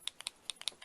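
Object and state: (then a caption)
Paint marker with a mixing ball rattling inside. A Uni Posca paint marker is shaken to stir the paint, and the loose mixing ball inside clicks back and forth, much like the ball in a spray paint can. The quick, bright, dry clicks land in an uneven rhythm, with nothing low underneath. This is the normal sound of the ball mixing the paint.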